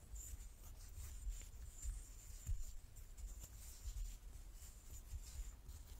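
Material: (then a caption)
Wood. A large, solid light-wood die with dark pips is held in both hands and turned in the palms while fingertips and nails rub and slide over its faces. The result is a quiet, continuous scratchy rubbing with a faint bright hiss, a few slightly louder soft bumps, and a low rumble underneath.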